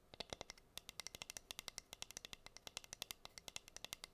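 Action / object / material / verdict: tap / wooden cutting board tapped by fingernails / wood / none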